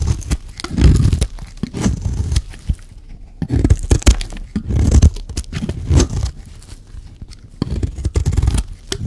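A solid, dry white soap bar is shaved and scraped with a metal blade. Bursts of dry, crumbly scraping and crunching rise and fall in repeated strokes, mostly low and thick with brief brighter clicks, and quiet pauses fall between them.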